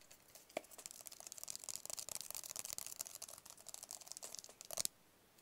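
A small, hollow, white rigid paperboard phone box is held in both hands and tapped with fingertips and nails. A quiet, rapid flurry of crisp, bright clicks and scratchy taps runs for almost five seconds with no low end, then stops abruptly.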